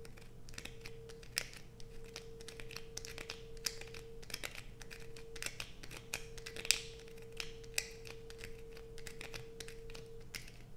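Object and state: Bar of soap scratched with nails.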